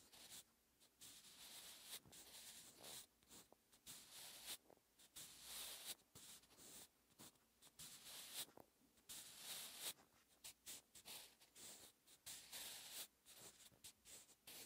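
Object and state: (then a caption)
Pencil writing on a paper notebook page. A sharpened wooden pencil's graphite tip writes Korean characters on a lined paper notebook page lying flat and solid on a surface. The clip is a quiet, bright, dry scratching of short strokes and longer drags across the paper, separated by brief pauses between marks.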